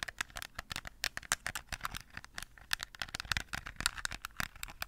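Long nails tap quickly on a small, hollow plastic toy phone with a bejeweled case, held just above the microphone. A rapid, uneven run of sharp, dry clicks with no ring, bright and thin, with a clacky tone around 1.4 kHz and little low end.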